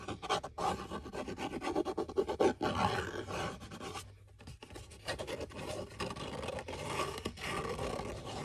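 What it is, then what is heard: Cardboard box, hollow. Fingertips and nails scratch and scrape the flat face and edges of a small, hollow brown cardboard box held close to the camera in one hand. A dense, continuous rasping texture of quick, gritty strokes fills the clip, dipping briefly into a quieter lull near the middle before the scratching picks back up.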